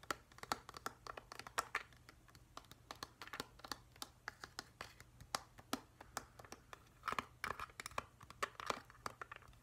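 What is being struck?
Plastic humidifier shell.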